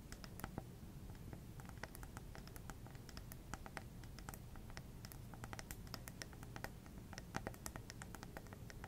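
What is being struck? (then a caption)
Glass plasma ball. Long red nails tap and scratch the hollow glass globe of a small lit plasma ball on a black base. Quick, light, bright clicks and soft scratches patter irregularly throughout, over a steady low hum.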